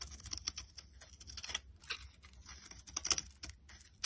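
A box cutter blade carves layered flakes off a solid yellow bar of soap held in the hand. The result is a quick run of dry, crisp scraping and crackling strokes with a bright, hissy edge. A few sharper, louder cuts come near the end, with almost no low rumble underneath.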